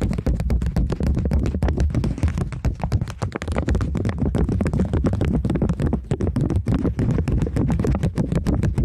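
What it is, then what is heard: Polymer banknote. A polymer plastic £20 banknote is held flat and then curled while long nails tap and scratch across it. The result is a dense, steady run of quick, close-set taps and scratchy crinkles, heavy in the low end with short, dry decays.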